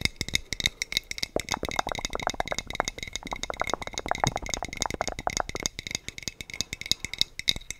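A hollow, clear glass sangria bottle with a teal cap is held upright and tapped along its body with the fingertips and short nails. The result is a rapid, steady patter of short, dry clicks with a bright glassy tone near 3.8 kHz and a band around 2 kHz, each tap dying away almost at once.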